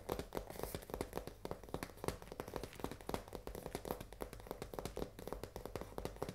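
A full cardboard risoni box is held flat in both hands while long nails tap quickly on its front and edges. The result is a rapid, steady run of short, dry, hollow taps with a low papery body and very little brightness, each one dying away almost at once.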